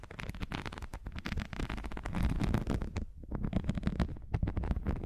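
Long nails scratch and tap the patterned surface of a folded strip of thin grey textured non-slip rubber or silicone sheet, held upright in both hands. The result is a dense run of quick, dull scratches and taps, mostly low and muffled with little brightness, each one dying away almost instantly.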